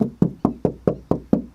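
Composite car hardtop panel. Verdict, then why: Sturdy. Eight evenly spaced taps on an authentic composite Mugen hardtop for a Honda S2000, compared against a Forbidden USA replica hardtop. Each tap is a short, dull knock with a low body around 170–200 Hz, no bright content, and a very quick decay. The hardtop sounds solid and sturdy and does not flex when pressed.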